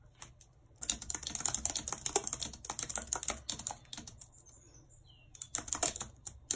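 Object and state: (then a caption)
Plastic computer keyboard. A white low-profile plastic wireless keyboard with a full number pad and hollow housing, lying flat on a map-printed surface, is typed on rapidly with long red acrylic nails. Bursts of bright, sharp clicks ring off almost instantly, with a lull midway before a final flurry.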